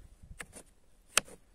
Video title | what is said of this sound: #Пчёлы. Загули. Прослушка пчёл, для выявления проблемной зимовки на ранней стадии. #TruskawkaR | if you gently knock on the hive a little like this, then the family starts to move, it starts to hum